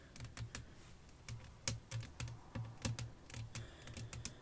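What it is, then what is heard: Glass pane tapped with nails. Long nails tap rapidly on a flat, clear glass sheet laid over black lace fabric with fairy lights. The taps are short and clicky, each with a low thump and a bright tick that dies away almost instantly, in an uneven, fast rhythm like typing.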